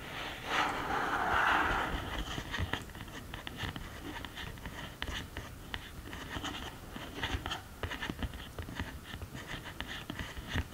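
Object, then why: Cardboard eyeshadow palette. Long green nails tap and scratch the pans and case sides of an open cardboard eyeshadow palette. A brighter scratchy swell near the start gives way to a steady run of quick clicks and soft scrapes.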